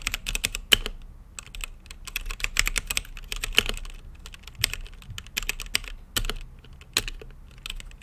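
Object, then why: Mechanical keyboard with plastic keycaps. Fingertips type steadily on a mechanical keyboard with plastic keycaps and a translucent lit case, producing a fast, irregular stream of sharp, bright clacks. Each keystroke is short and dry, with a faint low thump beneath the high-pitched click, and occasional louder strikes stand out from the rhythm.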